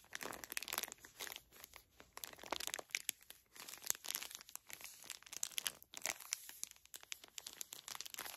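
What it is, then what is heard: Plastic-wrapped tissue pack, full. Long nails squeeze and crinkle the plastic film wrapper of a small, full pocket pack of facial tissues. The result is a quiet, dense stream of bright, crisp crackles and rustles in uneven bursts, with almost no low end and no ringing between the sharp snaps.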